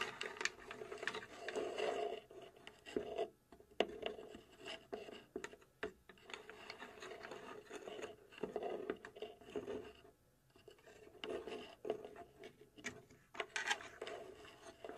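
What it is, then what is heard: Plywood puzzle box, hollow. A hollow plywood puzzle safe box is held from behind while fingertips and long nails tap and scratch its sides. Soft, dry wooden taps mix with gritty rasping scratches that carry a hollow midrange tone around 400 Hz and almost no low bass. The sound comes in short, uneven bursts with brief quiet gaps.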